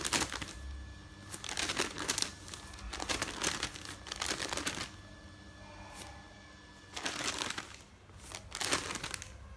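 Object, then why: Folded stack of newsprint paper. Fingers with painted nails riffle and flip the pages of a folded stack of thin printed newsprint resting on a bed. Bright, papery rustling and crinkling comes in irregular bursts, with quieter stretches of soft paper handling between them.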